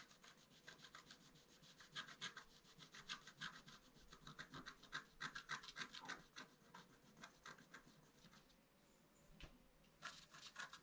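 A wooden stick scratches the coating of a flat black-coated scratch-art card in quick, uneven back-and-forth strokes. Each stroke gives a dry, bright rasp with a brief faint squeak, with almost no low end. The strokes keep coming at a rapid pace with short pauses between them.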